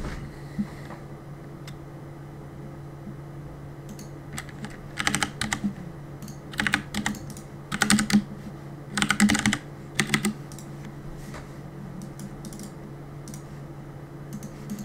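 Fingertips type on a black mechanical keyboard with plastic keycaps, producing irregular bursts of sharp, bright clacks in quick clusters with pauses between them. A steady low hum runs underneath the whole time.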